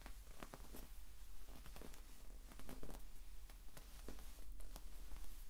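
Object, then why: Sand-filled rubber ball. A green, sand-filled soft rubber or vinyl exercise ball is squeezed and dented by the fingers and rubbed with the fingertips. Quiet, gritty shifting and soft crackling rustles come through over a steady low hum, with brief sharper clicks scattered throughout.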